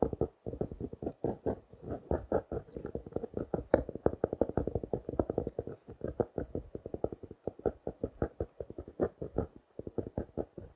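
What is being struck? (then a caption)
Small notebook in plastic wrap. A small blue notebook wrapped in clear plastic is held in one hand and tapped rapidly with a fingertip and nails. About sixty quick, dull taps run in uneven bursts, each muted and short with almost no ring, with energy mostly in the low and mid range and crinkly plastic clicks on top.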